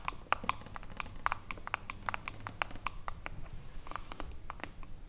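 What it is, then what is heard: Glass cream jar with metal lid. Long acrylic nails tap and scratch a small, full glass jar of pale green body lotion with a silver metal screw lid. Quick, sharp clicks with a bright, glassy edge come in an irregular stream over a steady low rumble, each tap dying away almost instantly.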